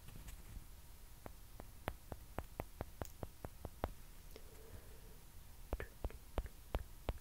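Long dark-painted nails tap and scratch small hollow white celluloid/plastic ping pong balls held close to the mic, giving about 19 short, dry clicks with no ring over a quiet low rumble. The taps come in a quick run, thin out into faint scratching midway, then pick up again.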